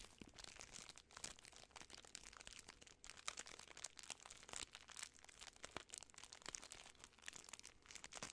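A full Butterfinger candy bar in its sealed plastic film wrapper is crinkled by fingertips and long nails. The result is a steady run of dry, bright crackles and crunches with very little low end, each snap cut off almost at once.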